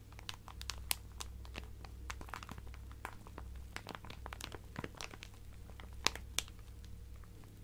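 A clear plastic zip-lock bag full of colourful fabric scraps is held in one hand and tapped and scratched with the fingertips and nails of the other. Quiet, dry crinkles and sharp bright ticks come in quick, irregular bursts, with a few louder snaps. A steady low hum runs underneath throughout.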